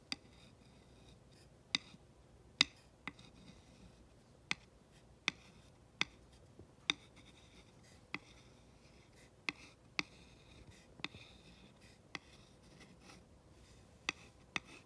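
The glass tip of a rod traces over the printed letters and near the edge of a flat, solid wooden plaque sign, making soft, bright scratching sounds. About fifteen sharp, dry clicks stand out, spaced irregularly, with no ring after each. A faint steady hum sits underneath.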